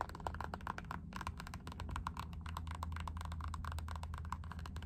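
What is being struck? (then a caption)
Rubber slide sandal. Long nails scratch and tap on a black Puma rubber slide sandal with a ribbed strap. Quick, dry clicking taps mixed with scratching ring briefly around 1 kHz over a steady low hum.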